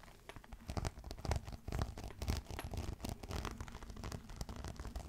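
A green crocodile-embossed faux leather clutch, held upright and then laid on a table, is scratched with fingernails. The result is an uneven run of quick, dry scratching strokes with a soft, muffled low-end body and little brightness. Each stroke dies away almost immediately.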